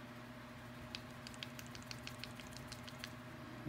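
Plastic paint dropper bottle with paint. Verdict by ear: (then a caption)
No agitator. A plastic paint dropper bottle with no glass agitator beads inside is shaken, giving only faint, soft, irregular clicks and liquid patter over a steady low hum. The paint can barely be heard mixing because the bottle lacks agitators.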